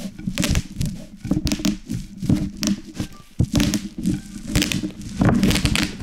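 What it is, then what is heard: Plastic bubble wrap popping. A wooden rolling pin is rolled with both hands over a large sheet of plastic bubble wrap lying on a wooden cutting board, crushing the hollow air cells. A low, rumbling roll carries dense, irregular bursts of sharp pops and bright crackles as the bubbles burst in quick clusters.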